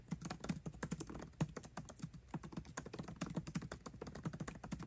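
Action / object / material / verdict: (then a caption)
tap / laptop keyboard, plastic keycaps on aluminium body / plastic / none. Both hands type fast with their fingertips on the backlit black plastic keycaps of a 13-inch aluminium MacBook Pro laptop keyboard, tapping the keys continuously. A dense, unbroken stream of short, dull clicks with a low thud and almost no ring fills the whole clip.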